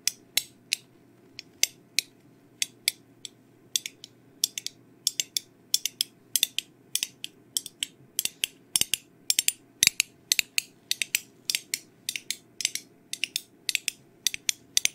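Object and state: Small metal tin tapped with nails.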